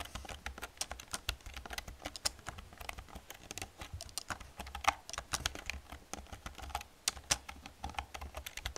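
Long painted nails and fingertips type quickly on an old black plastic computer keyboard with hollow plastic keys. The result is a steady run of sharp, bright, clacky taps with very short decay over a faint low hum.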